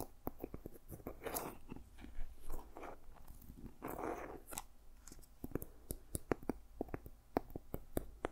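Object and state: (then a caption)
Seed pod covered journal. Fingertips and nails tap and scratch the ridged, dried seed pod cover of a small, solid journal. Quick, dry clicking taps come in irregular runs, and two longer rough, crunchy scratching bursts sweep across the textured surface. Each tap stops almost at once, with no ring.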